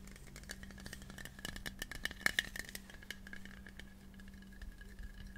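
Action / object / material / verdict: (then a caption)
tap / thin metal aerosol can / metal / none. Fingertips and short nails tap and scratch along the sides of a hand-sized, hollow, pink printed metal aerosol spray can of the air freshener type, held upright in both hands close to the mic. Quick, dry taps and scratchy rattling produce a bright metallic ring near 1.75 kHz over a faint steady low hum. A cluster of louder taps in the middle gives way to softer, steadier scratching.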